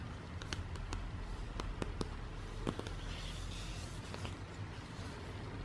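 A printed glossy paper or card product leaflet, held in the hands, is tapped and scratched with fingertips and long nails. Sharp, dry clicks stand out over a steady low rumble, alongside soft scratchy rustling.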